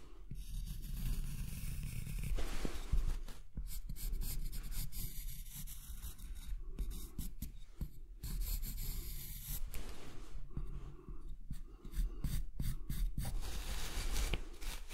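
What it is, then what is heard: Wooden block scratched by a pen tip. A marker pen tip traces a curved line along the side face of a large, solid, pale wooden block held on its side with one hand, scratching lightly over the wood grain. A quiet, continuous, scratchy rubbing is heard in uneven strokes, mostly low and muffled with faint bright hiss, and brief pauses between passes.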